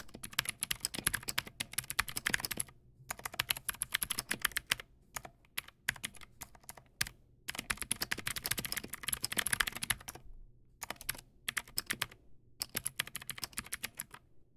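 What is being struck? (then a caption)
Plastic mechanical keyboard with clicky switches. A Teamwolf Zhuque+ X08 tenkeyless mechanical keyboard with Outemu Blue clicky switches, stock white plastic keycaps and RGB backlight sits on a solid desktop and is typed on rapidly with the fingertips of both hands. Bursts of fast, bright, sharp clicks come in runs separated by brief pauses, with occasional single keystrokes between them. Each click is crisp and dies away almost instantly, with little low-end thump.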